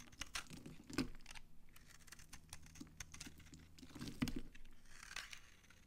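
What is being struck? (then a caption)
Bar of soap scraped with a blade. A utility knife blade scrapes crunchy flakes off a solid, dry, brown Farmamed bar soap held in the hand. The result is a quick run of short, dry, crackling scrapes with brief bright edges, followed by a steady low murmur underneath.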